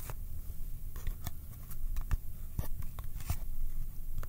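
A small, hollow Kodak film cardboard box is held in both hands while fingertips tap it and pull away from its surface with sticky touches. Short, dry, crackly taps and peeling clicks come through over a soft, low, hollow thump, with each touch dying away almost instantly.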